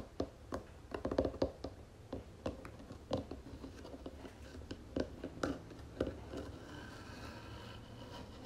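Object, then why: Round wooden jewelry box. Long fingernails on both hands tap on the flat wooden lid of a round wooden jewelry box, making quick, dry clicks with a hollow mid-range tone. The taps come in irregular bursts and fade almost instantly, then give way to a softer, steady scratching near the end.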